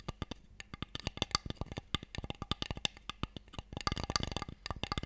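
Fingernails and fingertips tap rapidly along the sides and edges of an open, hollow, empty wooden Mikado box tray held in both hands. The result is a quick, uneven run of short, dry clicks and knocks that die away almost instantly, with a bright, high edge over a light hollow thump.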